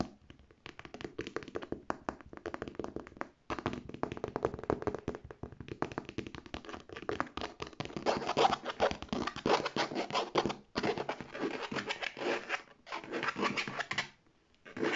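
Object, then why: Structured faux leather handbag with metal fittings. Long red nails rapidly tap and scratch the side panels of a structured, hollow beige faux leather handbag with gold metal fittings. The result is dense, crisp, short ticking taps mixed with dry scratching that rises and falls in bursts, with brief pauses between runs.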